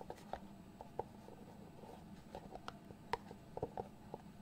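A small, hollow white cardboard box with a lid is held in the hands while fingertips tap and slide across the lid. About ten soft, short, hollow taps ring near 950 Hz against a faint steady low hum and light scratchy sliding. The overall sound is quiet and close, and each tap dies away almost at once.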